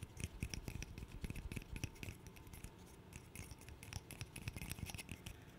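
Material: Wood.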